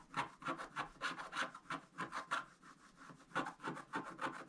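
A pointed wooden stylus scratches across a flat, thin scratch-art page with a black coating over gold foil, which is held down with one hand. Quick, uneven scraping strokes repeat at about three per second, each a dry, rasping scratch centred around 1.4 kHz with a bright, hissy edge and almost no low end. The strokes are short with little ring, and brief pauses fall between the bursts.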